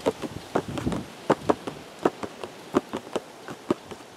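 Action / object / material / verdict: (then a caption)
tap / cardboard box / cardboard / none. Fingertips tap a hollow, printed cardboard teacakes box held close, outdoors, giving about 14 short, dry, hollow knocks at an uneven pace. Each tap is a soft midrange thud that dies almost at once over a faint steady background hiss.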